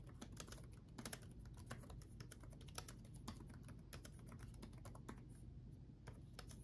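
Both hands type rapidly with their fingertips on the backlit chiclet keyboard of a black laptop, with plastic keycaps on a solid chassis. The sound is a fast stream of short, bright plastic clicks that stop almost instantly, over a steady low hum.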